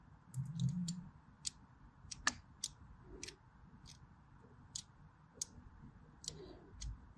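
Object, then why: Bar of soap. A blade scores the top edge of a solid white striped bar of soap held horizontally, letting small shavings fall. The result is a series of short, crisp, bright clicks over a quiet low rumble.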